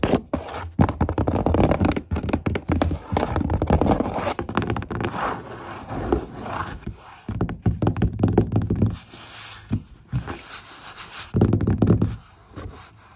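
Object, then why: Corrugated cardboard box. Fingertips and long nails rub and scratch the inner flap and wall of a hollow corrugated cardboard box. The sound is a busy run of scraping, scurrying strokes and soft knock-like thuds with a hollow, bassy body, swelling in bursts and easing off between them.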